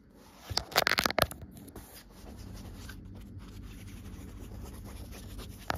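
Long-nailed fingertips scratch and drag over a soft, folded and rumpled green cloth with a white line print. A cluster of loud, bright, scratchy rustles in the first second or so gives way to a quiet, steady low rumble with faint fabric friction. One more sharp scratch comes at the very end.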